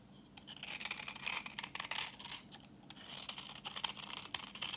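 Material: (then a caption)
Soap. A solid, translucent reddish bar of dry vintage soap, held in the hand, is scraped with a utility knife blade, shaving off orange curls. The scraping comes as a rapid run of dry, bright, crackly rasps with sharp onsets, the texture thickening and thinning as the blade moves across the bar.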